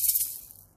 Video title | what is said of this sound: Airtoys Piko Pig Perfume Series Blind Boxes - COMPLETE SET! | including pearls in all different uh diameters which is really nice because it makes a better and different sound when you shake it